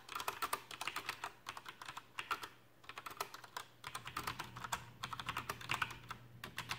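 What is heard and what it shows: Fingertips type on a Coolermaster Masterkeys PRO M mechanical keyboard with black plastic keycaps and tactile Cherry MX brown switches. Bursts of quick, bright plastic clacks run together, with short pauses between flurries and a faint low hum underneath.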